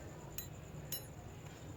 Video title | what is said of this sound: How To Install Pistons Ring In Deep Detail #pistons | आवाज में गूंज है ठीक है ना तो इसका मतलब यह हुआ कि यह जो है हमारा टॉप पल रिंग है